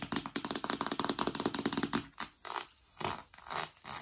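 Long nails scratch and scrape a large, flat, rigid cardboard iPad Pro box with a glossy printed front, held upright. For the first two seconds, rapid crackly scratches come in a dense run. They are followed by a few slower, longer scrapes with bright, hissy texture.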